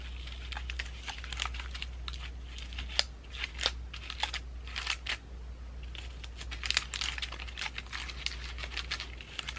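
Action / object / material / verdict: scrape / pine cone ornament ball with moss and dried flowers / pine cone / none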